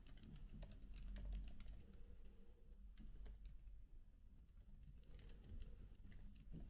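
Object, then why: Laptop keyboard, plastic keys on aluminium body. Fingertips with short nails type on the plastic keys of a MacBook laptop keyboard with an aluminium body. The clip is made of soft, irregular clicking taps with bright, short transients over a low, steady hum, and the pace of typing rises and falls.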